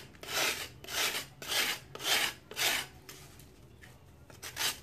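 A hand-held, solid chunk of dried sand-cement is shaved with a metal knife over water, producing bright, rasping scrapes in steady, repeated strokes. Five strong strokes come first, then a quieter stretch and one final stroke, with falling powder heard between them.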